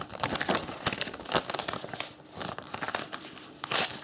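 A thin printed paper instruction leaflet, folded in long strips, is unfolded, crinkled and refolded with bare fingertips. The result is dense, crisp paper crinkling: a rapid string of short, dry crackles with bright highs and almost no low end, with louder bursts near the start, middle and end.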